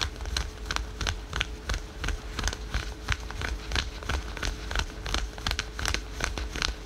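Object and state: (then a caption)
Fingernails scratching synthetic stretch leggings. Fingernails scratch quickly over patterned spandex/polyester yoga pants worn over the knee. The result is a fast, uneven run of short, dry, bright rasps with no ring, over a steady low rumble and a faint hum.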